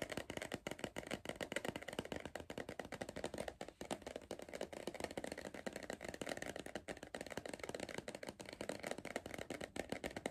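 Fingertips tap rapidly on the side wall of a hollow green cardboard Pringles tube held upright. The result is a steady stream of quick, dry, hollow taps with a papery rattle and almost no ring after each tap.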